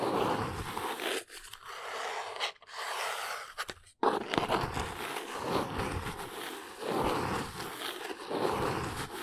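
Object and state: Small cardboard box.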